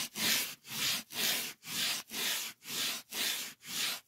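A solid white polyethylene packing foam sheet is scratched and rubbed with fingertips. Eight steady, evenly spaced strokes each swell into a bright, airy hiss and then fade, with brief quiet gaps between them and almost no low end.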